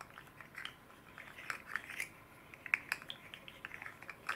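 A red and green hand-sized fidget slug made of hard plastic, with hollow jointed rings, is held in both hands and flexed and twisted with the fingertips while a second slug sits idle behind it. Its segments clatter in an irregular run of quiet, bright clicks and ticks centred around 2 kHz, with almost no low end. Each click dies away almost instantly.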